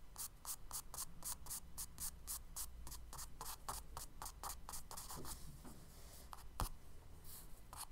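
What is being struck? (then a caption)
Charcoal stick on kraft paper sketchbook page. A charcoal stick scratches quick grass strokes across the tan kraft paper page of a spiral sketchbook. A rapid, steady series of short, bright, dry scratches rides over a low, constant hum. The strokes grow softer and more spaced out toward the end, with one sharper tick near the close.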